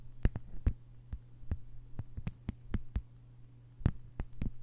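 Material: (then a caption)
Plastic. Long fingernails tap and scratch across a flat green plastic sheet lying on a table. Quick, dry clicks with bright edges come in an uneven rhythm, with faint scratching between them. A steady low hum runs underneath throughout.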